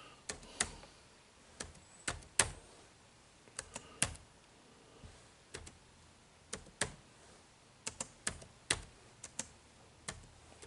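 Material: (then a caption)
Plastic. Fingertips type on the dark plastic keys of an HP laptop keyboard, giving about 18 short, clicky key presses at an irregular pace. Each click is quiet, bright and dies away almost at once against a faint background hiss.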